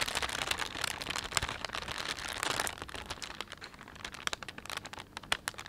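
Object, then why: Thin plastic shopping bag. A thin, empty plastic shopping bag with a panda print is rubbed between fingertips and thumbs, giving a bright, dense crinkling. The first half is busier and louder, then it thins into sparser sharp crackles and snaps.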